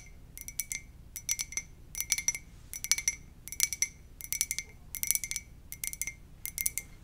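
A white ceramic "muah!" mug is tapped gently in quick clusters of light clinks, with short pauses between each flurry. Each tap gives a bright, glassy ping with a faint tone near 2.2 kHz and higher overtones that die away almost at once over a quiet background.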